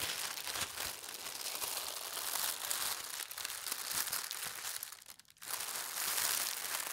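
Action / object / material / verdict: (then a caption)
scrape / thin tissue paper / paper / none. Thin white tissue paper printed with gold stars is unfolded, lifted and smoothed with fingers and long red nails. It makes a steady, bright, papery crinkling with soft rustles, dropping to a brief near-silence around five seconds before the crinkling picks up again.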